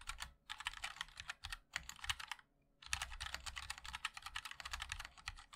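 Fingertips of both hands type continuously on a MOD-L 60% mechanical keyboard with a black aluminium case, white and black ABS plastic keycaps, and linear switches. Rapid, bright, short clacks run in quick bursts with a soft low thump beneath. There is a brief pause in the middle before the typing resumes.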